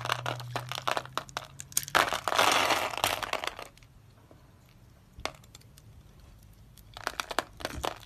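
A utility knife blade scrapes through the pre-scored grid of a palm-sized, solid blue-and-white striped dry soap bar held in the hand, breaking off small cubes. Rapid, dry, bright crackling crunches build into a loud, sustained scraping crunch that stops around the middle, followed by a quiet pause with a few isolated clicks. A fresh burst of crunching snaps comes near the end.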